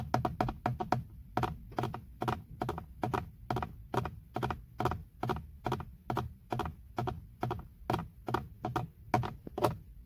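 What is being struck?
Plastic steering wheel airbag cover.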